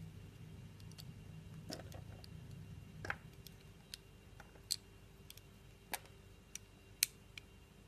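A metal blade shaves curls from a solid, translucent, orange heart-shaped glycerin soap held in a palm with long painted nails. Short, sharp, bright clicks and scrapes come at irregular intervals over a quiet, low background hum, each dying away almost instantly.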